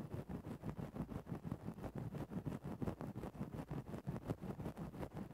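A thin bamboo ear-pick stick, held in the fingertips, pokes and scratches into a soft, fluffy grey synthetic-fur windscreen covering a microphone. The result is a rapid, loosely regular run of close, muffled scratching rustles, heavy in the low end with very little brightness, each stroke cutting off almost instantly.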